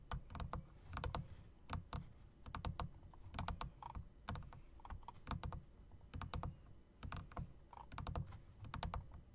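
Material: Plastic, metal.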